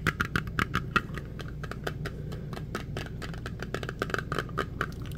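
A small round metal tin with a printed lid is held close and tapped quickly with fingertips on the lid and side. Rapid, bright, clicky taps with a tinny ring near 1.4 kHz sound over a steady low hum.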